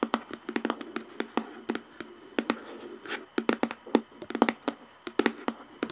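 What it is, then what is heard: Plastic jar lid tapped with nails. Long nails tap rapidly and irregularly on the top of a round plastic screw lid on a jar. Each tap is a sharp, dry click with a hollow tone around 240 Hz and a bright edge, dying away almost at once, with faint crinkly rustling between taps.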